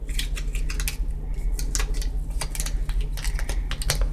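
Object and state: Cardboard box.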